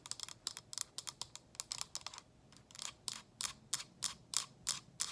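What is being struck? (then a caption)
Frosted plastic diffuser water tank. Long acrylic nails tap the sides of a small, hollow, frosted plastic cylinder: the inner water reservoir of an essential-oil diffuser, resting on its base with the lid off. The taps are quick, dry, bright clicks with no ring, coming in a fast, uneven flurry at first, then slowing to steadier, more spaced-out taps.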